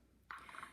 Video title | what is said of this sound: Room 113 - Mrs. Gleeson Leads a Craft: How To Make Cascarones (Confetti-Filled Eggs) | when I shake it, you can hear the confetti inside